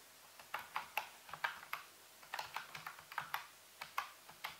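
A full-size black plastic computer keyboard with hollow keys, sitting on a white base, is typed on slowly with the fingertips of both hands. About seventeen separate, quiet key taps are heard. Each is a short, hollow, clicky tap with a bright edge that stops almost at once, with brief gaps between them.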